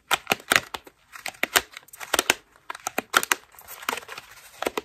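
A hand-sized white foam bath loofah made of ruffled soft foam strips is held in both hands and scratched and squeezed with long pink acrylic nails. It gives a fast series of dry, crinkly scratching bursts with bright, hissy edges and almost no low end. Each burst cuts off quickly, with short quiet gaps between them.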